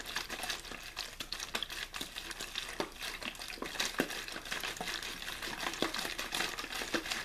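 An empty, hollow clear plastic water bottle with a blue label is held in one hand while the fingers squeeze and crinkle its thin plastic. The result is a steady, dense run of bright crackles and sharp snapping clicks, with little low-end weight and almost no ring after each snap.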